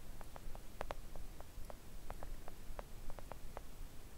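Long acrylic nails of both hands gently tap a flat, thin, solid pink silicone nail art mat lying on a table. The soft, dull taps come at an uneven pace, each short and muted with almost no ring, over a quiet low rumble.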